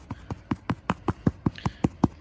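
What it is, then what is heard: Hollow spot over a buried golf cup under synthetic turf. A foot taps repeatedly on rolled-out synthetic turf to locate a plastic golf cup buried underneath. Twelve short, dull, low-pitched thuds are heard, and they take on a hollow tone over the cup, showing where the hole is.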